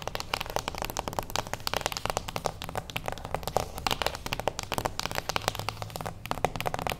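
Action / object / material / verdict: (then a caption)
tap / small cardboard box tapped with fingernails / cardboard / none. A small, closed beige cardboard gift box, standing on its edge, is tapped rapidly with the long acrylic nails of both hands. A dense, continuous stream of short, dry clicks and knocks, with a hollow midrange tone and no ringing, fills the whole clip.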